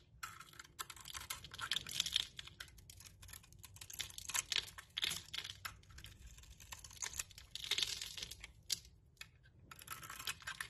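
A metal blade scrapes the glossy purple coating off a solid soap bar with a striped interior, held in the hand, peeling it away in curls. The sound is a dense run of crisp, dry, crackling scrapes and rapid ticks, bright and high with almost no low end. It comes in uneven bursts with brief quieter gaps.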